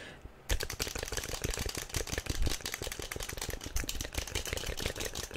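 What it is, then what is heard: Plastic toy figure tapped with fingernails. A small yellow plastic SpongeBob figurine is held in both hands and tapped quickly with long nails. After a brief quiet start, a rapid, continuous stream of sharp, bright clicks and clattering taps follows with a low thump underneath.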